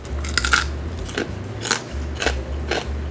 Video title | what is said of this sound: The BEST Chinese Roast Pork Belly in 80-Minutes - Siu Yuk (燒肉) Recipe | We can then use a cleaver to chop into pieces. Listen to how crispy the roast pork is.